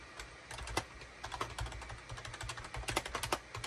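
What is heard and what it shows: Rapid typing with the fingertips of both hands on a full-size gray, cream and orange plastic SHIPADOO K600 wired USB keyboard with a hollow plastic housing, resting on a desk mat. A quick, uneven run of short, bright plastic clicks and clacks sounds over a low, steady hum, each keystroke dying away almost at once.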